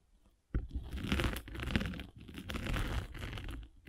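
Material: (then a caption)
Foam. A metal-spiked derma roller is rolled over a solid, palm-sized abrasive foam sanding sponge block. After a short near-silent start, a dense, continuous crunching, scratchy rasp begins abruptly, heavy in the low end with a gritty brighter layer. It runs in two long passes separated by a brief dip just past the two-second mark.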